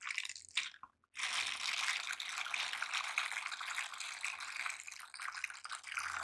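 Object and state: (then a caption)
Silicone scrubber gloves rubbed together. A pair of silicone cleaning gloves with nub and bristle textures is worn on both hands, with the fingers of one stroking and rubbing across the bristled palm of the other. The result is a dense, bright, crackly scratching with a brief pause near the one-second mark, then continuous friction with a fine, slightly wet-sounding texture through the rest of the clip.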